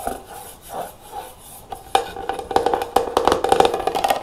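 Long nails and fingertips tap quickly on the closed lid and sides of a clear plastic jar with a metal clasp, full of cotton swabs. Soft, swelling brushing sounds come first, then a rapid, uneven run of sharp, hollow clicks with a short plastic ring around 750 Hz.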